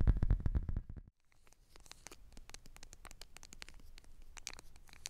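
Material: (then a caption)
Foil laminate. Long black nails scratch and tap the crinkly surface of a small, flat foil-laminate Wet Ones travel pack lying on a fuzzy blanket. A loud, dense burst of low, thumpy scratching opens the clip, then a brief pause. It continues as quieter, rapid, irregular taps and scratches with bright crinkling.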